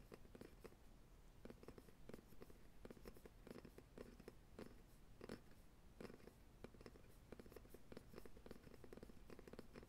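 A light, solid wooden rolling pin is held across a lap while fingertips and nails tap and scratch along its barrel. Quiet, rapid, soft knocks with a low, woody body and a short ring mix with light scratching, continuing steadily throughout.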